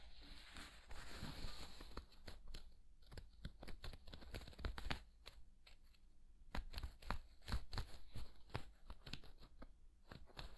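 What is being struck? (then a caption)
Woven vinyl placemat. A thin, flexible woven vinyl placemat is held close and crinkled and bent with the fingers. The result is a run of sharp, dry crackles and snaps with bright high edges over a low rumble. The crackles come in irregular bursts and pauses.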